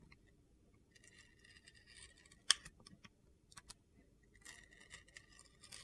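A utility-knife blade scrapes and peels the blue glitter coating off a solid white bar of soap held in the hand. Soft, crisp, high-pitched scraping and crackling come in intermittent bursts. One sharp click stands out near the middle.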